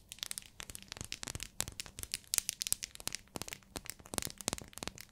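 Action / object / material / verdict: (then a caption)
tap / soap bar in plastic wrap / plastic, soap / none. Long nails tap and scratch a small, solid, pink translucent glycerin soap bar in clear plastic wrap. A rapid, uneven string of sharp, dry clicks and crinkles comes through, bright and high with little low end, each dying away instantly.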